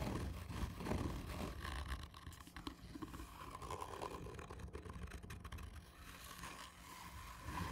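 Long painted nails on both hands scratch slowly and hard across a hollow, black textured cardboard whisky tube. The result is a steady, rough scraping with a deep, hollow rumble underneath and faint brighter scratchy grain, rising and dipping without pause across the clip.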